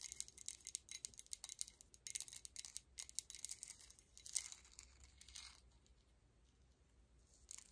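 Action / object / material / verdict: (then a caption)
tap / metal medallion pendant on a chain / metal / none. Long acrylic nails on both hands tap and scratch a large, solid gold-tone metal coin-style medallion pendant hanging on a chain and worn at the chest. The result is a quiet, rapid flurry of bright, high-pitched clicks and scratchy rasps with no ring. It thins out after about five and a half seconds, then returns with a few final taps at the end.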